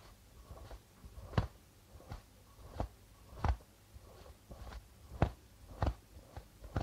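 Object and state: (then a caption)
Darbuka drum with plastic head. Fingers of both hands tap and rub the plastic head of a hollow darbuka drum. Six stronger taps land as short, low, dull thumps that die away almost at once, with softer taps and faint rubbing of the membrane in between.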